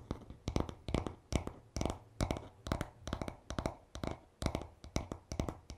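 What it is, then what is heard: Wooden hairbrush back. Fingertips tap rapidly and short nails scratch on the smooth, solid wooden back of a paddle hairbrush lying on a towel. Quick bursts of short, dry, woody taps with a low thump and a bright click recur irregularly, each dying away almost at once, with soft scratchy texture between them.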